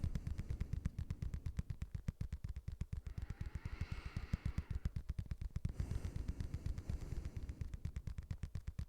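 A padded boxing glove is tapped with a rapid, steady run of roughly sixty soft taps over about nine seconds. Each tap is a short, dull, low thud that dies away almost at once, with a faint brighter rustle under the taps in places.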